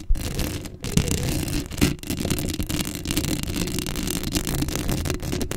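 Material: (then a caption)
Metal mesh. Long acrylic nails scratch across a black metal mesh microphone grille, making a dense, continuous rasping scrape. The sound is heavy in low rumble with a gritty, bright hiss on top, and a few louder strokes stand out near the start.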